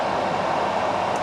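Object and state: Nothing is struck.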